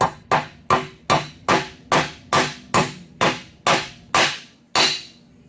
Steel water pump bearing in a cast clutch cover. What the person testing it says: When you hear that change in tune or in tone, as you're tapping it in, you'll hear that high-pitched sound when the bearing seats.